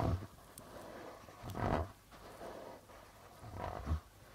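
Fingertips slowly rub and tap the white plastic membrane of a hollow darbuka drum with a red body. Soft, low, booming thumps mix with breathy rubbing swells that rise and fade, with little brightness and a short ring after each touch.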